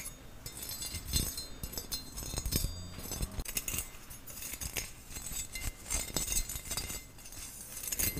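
Nails and fingertips tap and scratch the flat, round, perforated bowl of a long-handled stainless steel skimmer spoon held close to the mic. The result is a dense run of bright, short metallic clinks and scratchy rustles. Each ticks off quickly over a soft low rumble.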